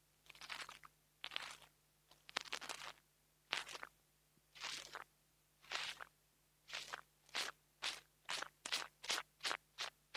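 A metal nail tool tip taps and scratches the metal grille on top of a small black plastic mini lavalier microphone. The result is bright, crunchy, close-up scraping bursts, uneven and longer at first, then shorter and quicker in a steady rhythm toward the end, with quiet gaps in between.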